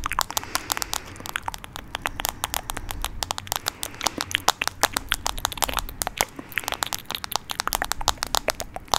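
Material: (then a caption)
Plastic. Fingernails tap and scratch the back of a hand-sized smartphone in a light blue plastic case, with the screen side facing the mic. Rapid, dry, crackling clicks come one after another without pause, bright and sharp with almost no ring, over a faint low hum.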